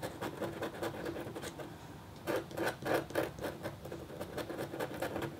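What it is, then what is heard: Copper scratch art board being scratched. The metal tip of a red stylus scrapes short strokes across a thin, solid, flat black-coated copper-foil scratch art board. The result is a quick series of dry, gritty scratches at roughly three to four strokes per second, slightly uneven in rhythm. A louder, denser cluster of strokes comes in the middle, with the sound centered in the midrange and little deep low end.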